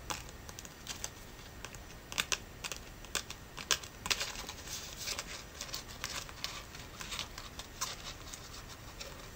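A large, thin, brittle brown dried leaf is held in both hands and tapped and crinkled with fingertips and long natural nails. The result is a steady stream of soft, dry crackles and sharp clicky taps, bright and crisp, with many quick hits that die away almost instantly over a faint hiss.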